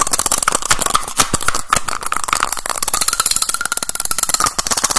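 A small teal plastic cylindrical case has its cap pulled off and pushed back on quickly with the fingers, over and over. The result is a fast, loud stream of sharp, short plastic clicks and snaps with a bright edge and a faint ringing tone around 1.3 kHz.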